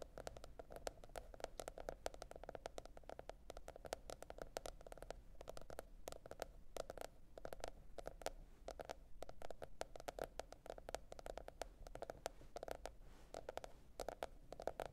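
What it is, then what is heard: Cardboard hardcover notebook. A teal printed cardboard hardcover notebook is tapped rapidly and steadily with long red nail tips. The quiet, dry clicks have a hollow mid-range tone and die out at once, over a low, constant rumble.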